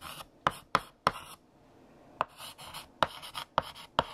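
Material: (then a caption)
Chalk. A stick of blue chalk held in the fingertips writes text on a large, solid, flat black chalkboard with a painted surface. Sharp taps as the chalk strikes the board are followed by dry, scratchy strokes, with a brief quiet pause near the middle. The sound is bright with a clicky tone around 1.3 kHz and very little low end.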